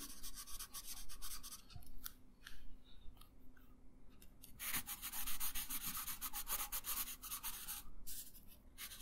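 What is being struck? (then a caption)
Paper sheet on a wooden table, rubbed with a coloured pencil. A yellow pencil colors a thin paper coloring page resting on a wooden table, making continuous rubbing and scratching strokes. Bright, papery scratch bursts rise and fall in quick back-and-forth runs over a low, soft rumble, with brief quieter pauses between passes.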